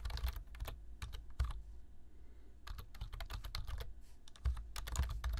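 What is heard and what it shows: Fingertips tap the keys of a black plastic low-profile computer keyboard while typing, making quick bursts of bright, crisp clicks over a soft low thump. The typing pauses briefly in the middle, then resumes at a steady pace with a few firmer keystrokes near the end.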